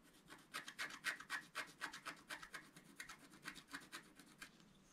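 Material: Coated paper.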